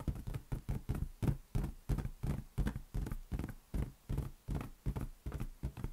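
A large, hollow, air-filled green latex balloon is held in one hand and tapped with the fingertips. It gives a quick, somewhat uneven series of dull, low, drum-like thumps, each dying out almost at once with a soft, boomy body and little brightness.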